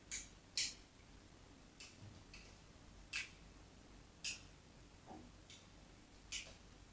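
A craft knife blade scores repeated parallel grooves into the surface of a solid white bar of soap held steady. Eight short, dry, bright scratching ticks are heard, spaced unevenly over a quiet background, each fading almost at once.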